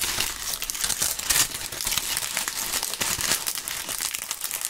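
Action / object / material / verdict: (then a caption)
scrape / maple leaves / dried leaves / none. Dry maple leaves are rubbed and crushed between gloved hands, giving a steady, brittle crinkling and crackling. The sound is bright and papery, with dense snapping bursts and almost no low end.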